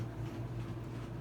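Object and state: Nothing is struck.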